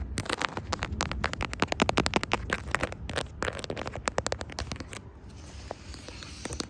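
Long striped acrylic nails tap and scratch across a brown plastic smartphone case decorated with bear, coffee cup and smiley charms, on the same phone that is recording. Quick, sharp, dry clicks come in dense clusters for about five seconds. They then give way to a softer, brighter scratching hiss with only a few scattered taps.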